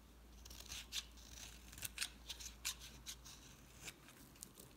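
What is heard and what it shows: A utility knife blade scrapes and shaves flakes off the surface of a solid red-pink embossed bar of soap held in the hand. Quiet, bright, crisp scraping strokes come in short irregular bursts over a faint low steady hum.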